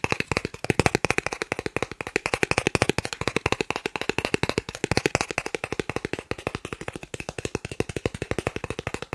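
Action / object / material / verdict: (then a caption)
tap / thin plastic card / plastic / none. A thin, solid green plastic gift card the size of a credit card, held in one hand and seen edge-on at first, is rapidly tapped and scratched with fingertips and short nails. About 87 short, dry, clicky taps come in a fast, steady stream, each dying away almost instantly, with a bright plastic edge and a faint scratchy rasp between them.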